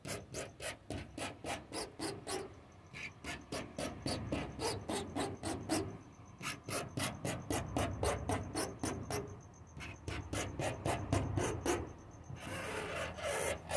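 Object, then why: Wooden door. A wooden door is tapped and scratched in a quick, steady rhythm of about four strokes per second. Each stroke is a short, dry rasp with a low thud and bright scraping edges. Near the end it shifts into a longer, hissier scrape.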